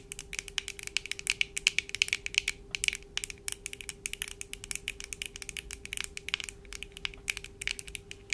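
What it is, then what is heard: Plastic-framed eyeglasses. Long acrylic nails on both hands tap and scratch the lenses and frame of black plastic-framed eyeglasses worn on the face. The result is a rapid, irregular stream of dry, bright clicks and short scrapes with almost no ring, centered around 2.6 kHz, over a faint steady tone near 400 Hz.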